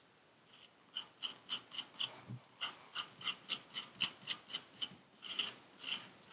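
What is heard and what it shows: A thin metal needle tool with a wooden handle scratches and scrapes the surface of purple kinetic sand packed into a small paper cup held in a black-gloved hand. About 19 short, bright, crisp scraping strokes come in a loose, uneven rhythm, each one dry and quickly fading, with almost no low end.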